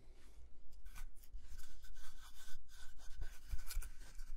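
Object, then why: Round wooden log slice. A solid, round slice of wooden log about 15 cm across, with visible growth rings, is rubbed and scratched with fingertips and nails. Soft, bright rasping strokes come in uneven bursts over a faint low rumble, with brief scratchy accents and no ringing.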